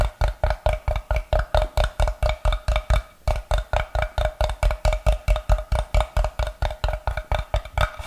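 A solid, brick-sized block of unfinished light wood is held in both hands while fingers tap and scratch it with their nails. About 38 short, dry, woody knocks come in a quick, fairly steady rhythm, with a deep thump under each and a hollow tone near 620 Hz, pausing briefly around the three-second mark. Each tap dies away almost at once.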